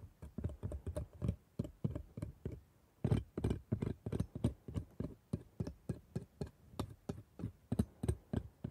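A gloved hand works a steel dental scaler hook over the plastic teeth of a dental model set in rubber gums, making rapid small taps and scrapes. About 35 short, dull clicks come in quick, uneven bursts, each dying almost instantly, with a low-heavy body and a faint bright tick on top.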